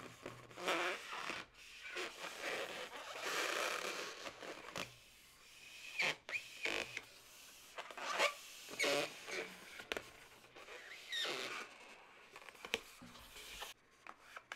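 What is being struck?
Inflated latex modelling balloon.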